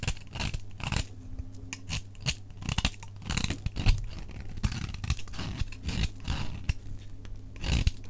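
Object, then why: Soap bar shaved with a blade. A utility knife blade shaves a solid, dry, cream-white Fa soap bar held in the hand, cutting off crumbly flakes, played at double speed. Quick, crisp scraping and cutting strokes come one after another as bright, dry bursts over a steady low hum.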